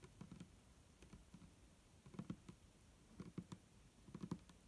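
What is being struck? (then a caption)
Plastic liquid bottle. Long nails of both hands tap the sides of an upright, hollow, clear plastic micellar water bottle with a green cap and liquid inside. Quick, soft, dull taps come in short bursts, low and muffled with little ring. They are interspersed with quieter taps in between.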